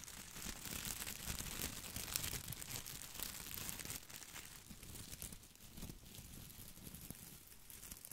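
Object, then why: Plastic artificial boxwood ball. Fingertips scratch and rub the small plastic leaves of an artificial boxwood topiary ball held beside the mic. The result is a dense, continuous, bright crinkling and rustling with rapid scratchy ticks over a soft low rumble, easing slightly in loudness after the midpoint.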